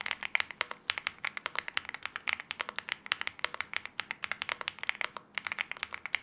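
A LEOBOG Hi75, a 75% mechanical keyboard with an aluminium case, wine red plastic keycaps and KTT Wine Red, is typed on continuously with the fingertips of both hands. About 47 short, sharp, bright clacks run together in a fast, uneven rhythm, centred around 2.3 kHz with almost no low end. Each keystroke dies away almost instantly.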